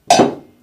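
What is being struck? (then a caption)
Metal sheep bell (platelle). A metal platelle sheep bell, the kind put on animals with character, is rung once and gives a bright, crystalline, piercing clang centered near 700 Hz. The tone is harsh to the ear and decays over about half a second.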